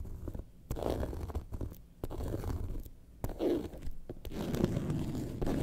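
Long nails scratch the top panel near the zipper of a faux leather lemonade-carton bag lying on its side. The result is a soft, muffled, rasping scratch that comes in uneven bursts with brief pauses between them. The sound is mostly low and dull, with sharp little ticks and almost no high brightness.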